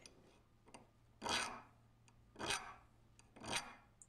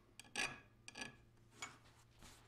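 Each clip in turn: First: soft unhardened steel blade. Second: soft unhardened steel blade.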